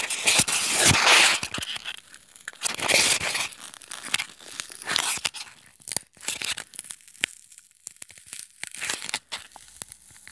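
A small, solid white styrofoam block, resting on a table and held in the hands, is scratched and pressed with short nails and thumbs. It gives bright, crinkly, tearing scrapes in irregular bursts, with a few sharp squeaky clicks between them. Each sound stops almost at once, with no ringing.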